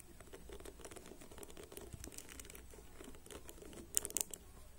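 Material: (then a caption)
Plastic. Fingertips and short nails scratch and flick across the plastic pins of a black plastic paddle hairbrush lying on a table; the pins have white ball tips. The result is a quiet, dense, crackly patter of bright ticking, with a few sharper, louder clicks near the end.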